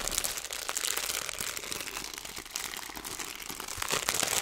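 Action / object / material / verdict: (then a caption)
scrape / plastic zipper bag holding small seeds / plastic / none. Fingertips with long nails press and crinkle a clear plastic zipper bag, partly filled with small seeds, near its seal. A steady, dense stream of bright, crisp crinkles and tiny crackling ticks runs throughout with almost no low end, and each snap dies away almost instantly.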